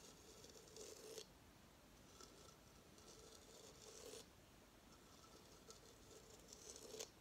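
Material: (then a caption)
Coconut shell. A hollow coconut shell hamster hideout is held in the hands and tilted to show the underside of its shell stand while fingernails scratch and tap the stand base. Quiet, bright scratching rasps swell in three longer bursts, each ending in a sharper tap, over a hollow, low-mid tone around 480 Hz. Lighter scattered taps fill the gaps.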